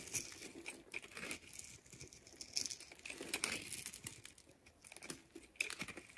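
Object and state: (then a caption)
Bar soap being cut with a blade. A utility knife blade cuts and scrapes a solid, hand-sized light blue bar of soap held in one hand, shaving off small cubes and slabs. The result is a dense run of crisp, bright scraping and crackling, with quick dry ticks and short louder bursts, almost no low end and no ring after each cut.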